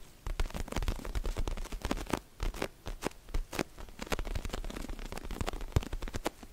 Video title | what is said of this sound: ASMR CALM & RELAXING TRIGGERS FOR SLEEP! 😴 | Vous avez des tapotements collants. Et puis il a un joli tapotement d'ongles terne.